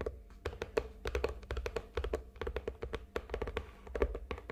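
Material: Cardboard.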